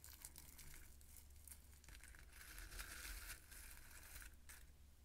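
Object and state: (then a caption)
Roasted pumpkin seeds being stirred. Long manicured nails and fingertips dig into and stir a small pile of dry roasted pumpkin seeds in a small ceramic bowl. The result is a continuous crunchy rustle and scratch, with brighter crinkly bursts that swell around the middle of the clip. A steady low hum runs underneath throughout.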